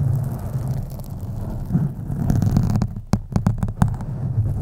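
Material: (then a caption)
Foam. Long nails lightly scratch the sides of a black foam microphone windscreen, with the hands partly hovering. The scratching comes through as a dense, muffled low rumble, and a few sharper crackling ticks appear near the end.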